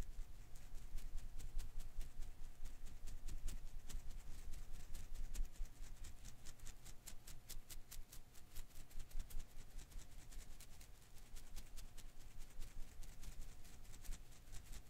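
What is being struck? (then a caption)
Rubber-filament Koosh ball. A hand-sized blue and green rubber-filament Koosh ball is held in one hand while the fingers quickly rub and flick its strands. The result is a continuous stream of rapid, soft, bright ticking and crackling flicks over a low rumble and a faint steady hum, easing slightly in loudness partway through.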